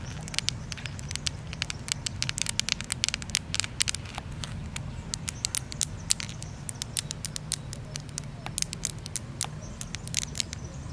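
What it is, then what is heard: Granite boulder. Very long, curved purple nails on both hands tap and scratch a large, solid, pinkish-red granite boulder with a rough surface. The result is a rapid stream of sharp, bright clicks that die away almost instantly, with softer scratching between them. A steady low rumble sits underneath throughout.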